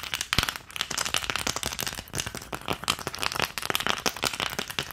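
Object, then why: Plastic ice cube tray. Long nails rapidly tap and scratch the round cavities of an empty green plastic ice cube tray held close to the camera. It makes a dense stream of dry, bright clicks and crackly scrapes with very little low end, each hit dying away almost instantly.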